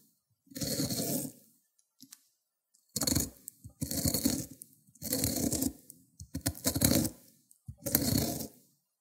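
A solid cucumber is rubbed in circles on a ceramic grater plate, breaking down into wet green pulp. About six wet, gritty grating bursts are heard, each a rough scrape with a low thrum and a bright, hissy edge, separated by short silences and small clicks.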